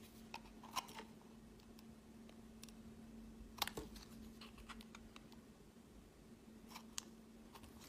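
A utility knife blade scrapes and carves thin curls off a solid, palm-sized pink speckled bar of soap held in the hand. Quiet, irregular crisp scrapes and short bright crunchy clicks sound over a faint steady low hum.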